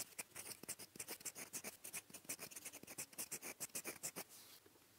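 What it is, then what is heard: Fountain pen nib scratching on paper. A gold metal fountain pen nib, held by the fingertips, writes blue Korean handwriting quickly across a flat, thin sheet of lined writing paper. About 29 short, bright, scratchy strokes follow one another at an uneven, rapid pace before fading into a soft, faint rasp at the end.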